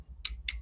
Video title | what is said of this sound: The Picker Daily Hustle Morning Show Ep 749 | see that sounds like glass to me yeah